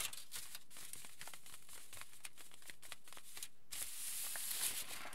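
Fingertips of both hands scratch and rub a crinkled aluminium foil sheet lying flat. Quiet, uneven bursts of bright crackling and scratching come in quick succession, then give way near the end to a denser, hissing rustle that is brighter still.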